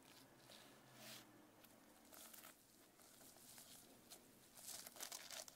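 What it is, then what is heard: Sequin-covered notebook. Long nails tap and scratch across the sequins of a sequin-covered notebook held up in the air. The result is a quiet, bright, crinkly rustle of clicking and scraping, which grows busier and sharper toward the end.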